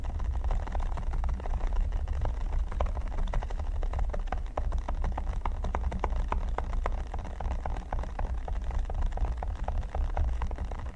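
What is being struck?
Silicone pyramid mat with studs.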